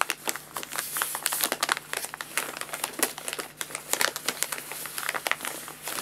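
Fingertips and both hands scratch and rub across a folded, empty paper guinea pig food bag lying on a lap. The result is a steady run of dry, crisp crinkling and scratching with many short, bright bursts and almost no low end.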